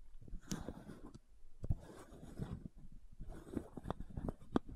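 Long nails scratch the ridges of the cap on a white plastic supplement bottle held sideways. Quiet, dry, low-heavy scraping comes in bursts, broken by short sharp clicks that die away almost at once.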